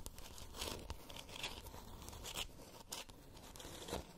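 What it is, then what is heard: Plastic moon lamp. Long nails scratch and tap a glowing, palm-sized spherical moon lamp made of hollow 3D-printed plastic with a textured surface. The result is a soft, continuous crackly scraping with a tearing, crinkly texture, broken by brighter rasping bursts and a low, dull hum underneath.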